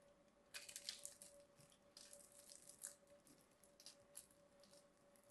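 A small knife blade carves a grid into a palm-sized solid cream bar of soap held in one hand and scrapes out small cubes. Soft, crisp scraping and crumbly crunches come in quick, irregular bursts, bright and hissy, with almost no low end. A faint steady hum runs underneath.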